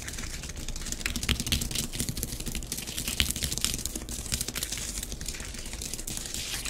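Long nails on both hands scratch fine squiggly lines through a layer of orange bath bomb powder spread on a grey plastic tray. A steady run of bright, gritty scratching strokes, with slightly louder swipes, plays over a faint low hum.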